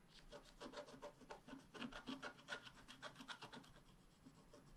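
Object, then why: Wax-coated scratch-art card scratched with a wooden stylus. A wooden stylus scratches the coating near the bottom of a flat black-coated scratch-art card held down by the left hand. The result is a rapid, uneven series of short, dry rasping strokes with a bright, papery hiss and little low end. The strokes are loudest in the middle of the clip and fade toward the end.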